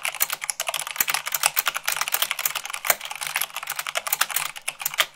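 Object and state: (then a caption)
Plastic mechanical keyboard. Fingertips with long acrylic nails type quickly, about 98 words per minute, on a full-size mechanical keyboard with white plastic keycaps on a black base. A rapid, uneven stream of sharp, bright plastic clicks and taps follows, each dying away almost instantly, with an occasional heavier thock standing out.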